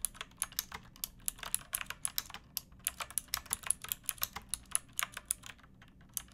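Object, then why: Plastic mechanical keyboard. Fingertips with long painted nails type steadily on a pink backlit plastic mechanical keyboard with round typewriter-style keycaps and a hollow case, producing about 36 keystrokes in quick succession. Each press is a short, bright clack with almost no ring and very little low end, against a faint low background hum.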